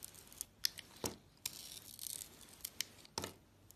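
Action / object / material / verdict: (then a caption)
scrape / bar soap cut with a blade / soap / none. A utility knife blade slices pieces off a white soap bar with blue glitter remnants, making a series of short, crisp, bright cuts and scraping crackles. The sharp clicks die away almost instantly, with a quiet, faint hiss between them.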